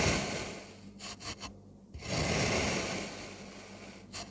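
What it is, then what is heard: Kinetic sand being cut. A metal crinkle-cut blade slices through a solid blue kinetic sand dome, cutting it into wavy slices up close. A soft, bright scraping and crumbling hiss fades, then three short scrapes follow. After a brief quiet pause comes a longer, louder crumbling slice that tapers off, ending with one last quick scrape.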